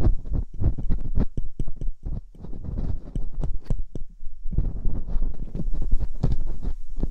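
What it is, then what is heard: Silicone ear of binaural microphone scraped. Metal dental picks scrape inside the ear canals of silicone ear molds on a binaural microphone. The result is a dense run of close, muffled scratches and soft bumps, heavy in low rumble with faint brighter ticks, easing briefly just past the midpoint before the rapid scraping resumes.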